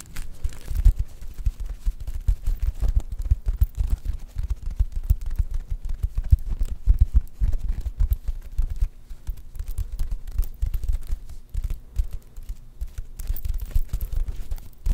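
Long fingernails scratch and flip the plastic sequins on a sequin-covered fabric star held up in both hands. The result is a dense, continuous run of soft scratching and rustling clicks that lasts the whole clip.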